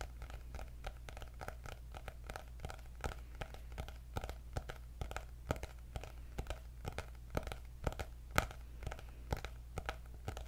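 Fingernails tap and scratch on the cover of a cream hardcover paper notebook with gold dots as it is held up. A steady run of quick, dry, crisp taps mixes with faint scratchy rustling over a constant low hum. The taps are short with almost no ring, and the whole clip stays quiet.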